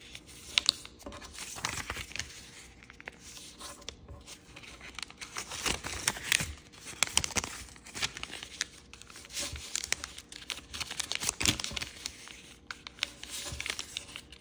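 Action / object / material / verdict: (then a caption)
scrape / sheet of origami paper / paper / none. A single sheet of blue wave-printed origami paper is folded and creased with fingertips on a wooden table. Bright, crisp crinkling and papery rustling are broken by sharp snapping creases and short tearing-like scrapes, with brief quiet pauses between folds.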